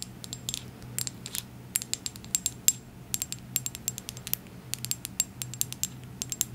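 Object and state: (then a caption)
Small glass dropper bottle. A small dark glass serum bottle with a gold dropper is tapped with long acrylic nails, producing a rapid, irregular run of short, bright, clicky glassy taps that ring only briefly. A faint low hum sits steadily beneath the taps.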